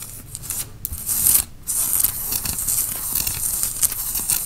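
Fingernails scratch a worn grey tie-dye cotton t-shirt at the shoulders and front. The result is a steady, bright, rasping scratch with a soft low rumble underneath. It breaks off briefly near the middle, then comes back louder and keeps going.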